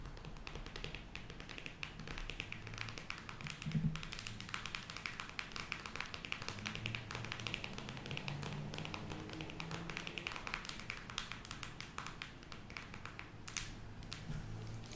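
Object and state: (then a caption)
Cardboard eyeshadow palette. Long acrylic nails tap rapidly on a closed, square cardboard eyeshadow palette with a glossy printed cover, held up in the air. The dense stream of quick, dry, clicky taps is bright and dies away almost instantly, over a steady low hum.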